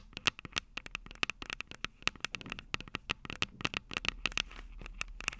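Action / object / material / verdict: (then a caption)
tap / handheld recorder with metal mic capsules and plastic body / metal, plastic / none. Long purple nails tap and scratch the two silver metal mic capsules on the plastic body of a Tascam DR-05 handheld recorder. Dozens of rapid, irregular, sharp clicks with almost no ring sound bright and close, with a recurring tone near 2.8 kHz. Soft scratchy rustle fills the gaps between the clicks.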